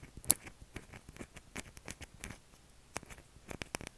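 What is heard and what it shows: Short fingernails scratch along the edge and face of a solid, palm-sized light-blue soap bar held in the hand, shedding soap shavings. Quiet, dry, crackly scrapes and soft ticks come in a steady run, with one sharper, brighter click near the start and a few crisper scratches toward the end.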